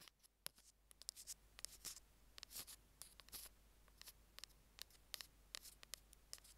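Metal tweezer tips tap and scrape a small, hollow white plastic Apple earphone mic remote resting on a jade stone. A quiet, irregular run of sharp, bright clicks is mixed with brief scratchy scrapes, each sound dry and stopping almost at once with no ring.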